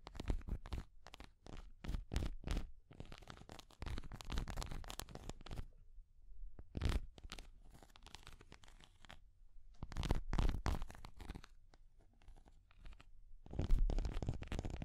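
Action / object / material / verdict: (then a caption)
tap / small hard plastic cat figure / hard plastic / none. A small translucent orange hard plastic cat-shaped figure, held in the hand, is tapped and scratched with long nails on its head and body. Quick, irregular clicking taps come in bursts alongside softer scraping passages, with low thumps under crisp, bright edges. Each tap is dry and stops almost at once, with no ringing.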